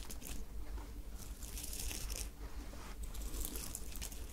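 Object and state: Sequined fabric top scratched and crumpled.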